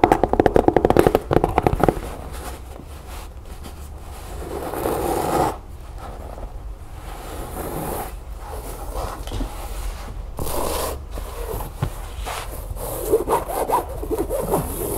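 Long nails rub and scratch along the fabric sides of a medium, empty, hollow rectangular storage bin with a chevron-print fabric cover over stiff board, held in the hands. A rapid burst of loud, rough scratching in the first two seconds gives way to softer, continuous rubbing that swells and fades in dull, low-mid scrapes with little brightness.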